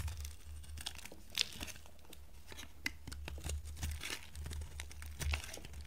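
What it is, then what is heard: Dry soap bar being shaved. A metal box-cutter blade shaves flakes off a dry, pink, solid bar of soap held in the hand. The result is a steady run of crisp, crinkly scraping and crackling with sharp bright snaps, over a constant low hum.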